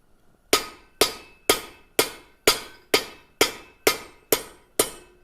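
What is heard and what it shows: A round rod set as a go-between on a steel treadle hammer anvil is struck ten times at a steady pace. Each hit gives a sharp, bright metallic clank that dies away quickly. The result sounds tinny with no ring, like hitting cold plate steel on edge, which is about what is expected.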